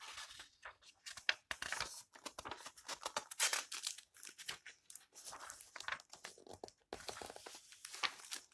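A flat hand with long nails rubs the yellowed paper page of an open old book, then turns the pages. The result is quiet, dry, bright rustling and crinkling in quick bursts, with papery swishes, little low end and no ring.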